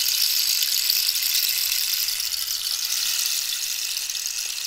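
Fingertips and nails scratch and tap the ridged wooden surface of a hollow cactus-skeleton rainstick with a striped end cap. The result is a steady, bright, hissing scrape with a fine rattling texture that holds an even level throughout, with no low end.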